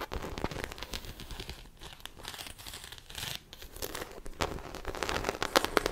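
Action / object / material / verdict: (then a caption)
scrape / textured faux leather handbag / faux leather / none. Long acrylic nails scratch the textured side of a small black croc-embossed faux leather shoulder bag, hollow and apparently empty, held up by hand. The result is a dense, dry crinkling and rasping scratch with brief quiet gaps, ending in a few sharper, brighter clicks.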